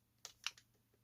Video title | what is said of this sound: [ 리뷰우 ] " 독특한 디자인의 M4 전동건..? " - Ics heraarms CQR - 전동건 리뷰 | 흔들어 보면 조금씩 유격이 있습니다. 흔들흔들 거리죠